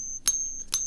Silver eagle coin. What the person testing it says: this one is way too high pitched. So, none of these sound like a real silver eagle.